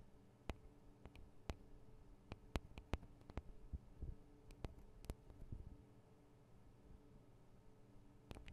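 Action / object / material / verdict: tap / metal and plastic microphone capsules of a handheld recorder / metal, plastic / none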